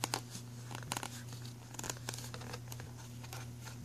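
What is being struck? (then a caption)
Ridged plastic pencil tray. A thumbnail and fingernails scratch across the embossed logo area and grooves of an empty black ridged plastic pencil tray. The result is a series of dry, bright scratching clicks and crinkly rasps over a steady low hum, with a few louder strokes near the start and around the middle.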